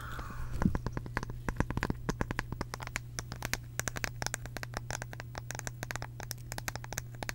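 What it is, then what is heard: Round bamboo wooden case. A small, round, flat bamboo or wooden disc-shaped case, likely hollow like a compact, is tapped and scratched with long acrylic nails. A soft scratchy scrape opens into a long run of quick, crisp, dry taps with very short decay, over a steady low hum throughout.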